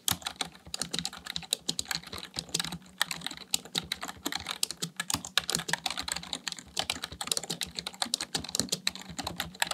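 Fingertips type steadily on a full-size black plastic computer keyboard. A fast, even stream of short, bright, clicky keystrokes continues throughout, each tap dying away almost instantly over a faint low hum.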